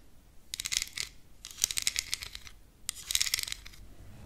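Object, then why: Plastic makeup compact case. Long green acrylic nails tap on a small, flat, rectangular black plastic contour palette with embossed lettering on its lid, a hollow compact case held up in one hand close to the microphone. Three quick bursts of crisp, bright clicking rattles are heard, each fading almost instantly with no ring, separated by brief quiet gaps.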